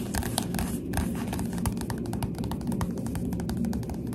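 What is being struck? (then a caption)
Paperback book with glossy cover. The glossy cover of a Goosebumps paperback book is tapped quickly with the finger pads of a hand with long dark nails. A rapid, continuous stream of soft, muffled taps has a low, dull body and faint bright clicks, over a steady low background.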